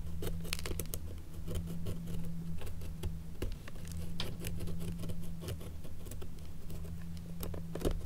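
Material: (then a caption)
Leather. An antique 18th or 19th century leather shoe, held up by hand, is scratched and picked along its leather strap and seam with a thin wooden stick. The result is a run of quick, dry, bright ticks and scrapes that die away almost instantly, over a steady low hum.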